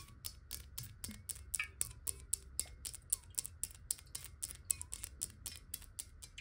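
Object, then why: Glass water bottle. Long nails tap quickly on the sides of a clear, square-sided, hollow glass water bottle that is partly filled with water, held upright and then tilted. A rapid, uneven series of sharp, bright clicks with very little ring sounds over a low background rumble.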